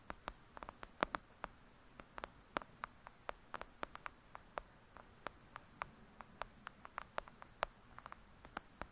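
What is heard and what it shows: Long acrylic nail tips tap rapidly on the top edge and cover of a thick, solid "Lady Midnight" paperback book lying flat. About 36 quick, sharp, dry clicks sound in irregular succession, each bright and cut off at once with no ring, over a quiet, faint hiss.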